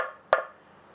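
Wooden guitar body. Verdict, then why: Solid. A lifted wooden guitar is tapped on its top over the solid part of the body, for comparison with the control cavity. A single short, bright wooden knock centred around 620 Hz dies away quickly, after the fading tail of an earlier tap. The spot sounds solid.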